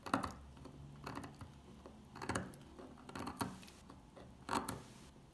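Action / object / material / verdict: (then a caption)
scrape / old bar of soap scraped with a metal pick / soap / none. An old, solid, dry dark green soap bar has its top scratched and scraped with a metal pick. Short, crunchy scraping bursts come at irregular intervals over a low, steady background.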